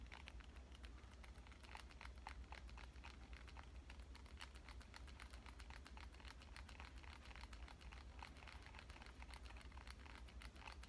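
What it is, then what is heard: Smartphone glass screen. Fingernail tips tap rapidly and continuously on the glass screen of a black smartphone lying in one hand. The taps are quiet, short, bright clicks over a steady low hum.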